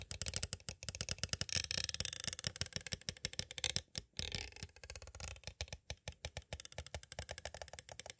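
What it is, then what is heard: Plastic cassette case tapped. Two green plastic stick tools tap rapidly on the edges of a small, hollow, clear plastic cassette tape case. The result is a dense run of crisp, bright clicks with a light hollow body and no ringing tail, pausing briefly near the middle before the quick tapping resumes.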